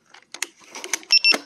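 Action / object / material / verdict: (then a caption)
tap / plastic shell of an electric unicycle / plastic / solid. Fingers tap on the plastic shell of a Begode Hero electric unicycle while someone sits on it, making short, dry, drum-like knocks with a bright, hollow tone and almost no ring. The plastic sounds solid.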